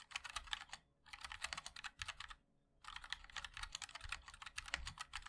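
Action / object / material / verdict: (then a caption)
tap / mechanical keyboard with plastic keycaps / plastic / none. Fingertips of both hands type quickly on a compact 60% MOD-L mechanical keyboard with a black case, white and black plastic keycaps and linear switches. Bright, crisp key clacks come in rapid bursts, broken by two short pauses. Each keystroke stops dead, with almost no ring.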